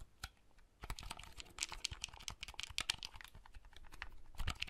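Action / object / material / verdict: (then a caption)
tap / plastic clamshell handheld console / plastic / none. Fingertips click the buttons of a small, hollow red plastic folding handheld console and open or close its hinged lid. After a quiet, sparse start, rapid, dry, bright plastic clicks and taps follow closely, each dying away almost instantly. A slightly louder clack comes near the end.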